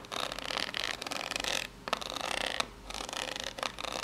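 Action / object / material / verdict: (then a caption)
scrape / corrugated cardboard box / cardboard / none. Long pink-polished natural nails scratch and tap the ridged surface of a small rectangular corrugated cardboard box, likely empty, held upright in both hands. Bright, crackly scratching comes in dense bursts separated by short quiet pauses, with a few sharper taps standing out between them.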